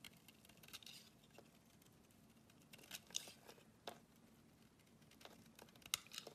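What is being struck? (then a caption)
Bar of soap shaved with a metal blade. A short metal blade scrapes across a solid oval green bar of soap held in the hand, shaving off curls. Quiet, bright, crisp scraping and shaving strokes come at an irregular pace, with a few sharper scrapes standing out above a soft, hushed background.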